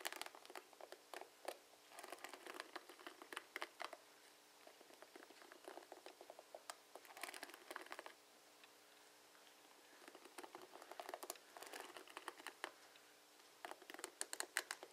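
Fingertips strum and flick the plastic pins of a plastic paddle hairbrush, producing quiet, dense bursts of rapid, bright clicking and crackling patter. The bursts come in rippling runs separated by brief lulls, especially around the middle of the clip, and each click dies away almost instantly with no low-end weight.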